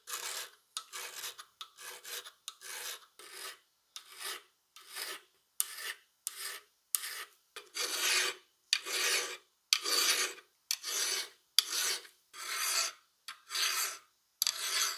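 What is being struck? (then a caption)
Steel plier half filed with a steel file. A solid steel half of a rusty plier, clamped in a vise, has its handle filed with a flat steel file held in a gloved hand. Long, bright, rasping scraping strokes repeat at a steady rhythm, about one per second, with short silent gaps between them. The strokes grow slightly longer and louder toward the end.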